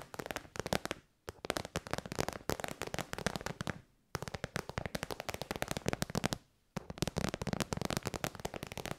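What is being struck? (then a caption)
Metallic faux-leather zip pouch. A small, shiny metallic pink faux-leather zip pouch, hollow and soft-sided, is held in the hand and tapped and scratched with long white almond-shaped nails. Rapid, dense bursts of crisp, crackling taps and scratches run in three long runs, separated by two brief silences. The sound is dry and short with no ring, broad and bright, with some low thump beneath.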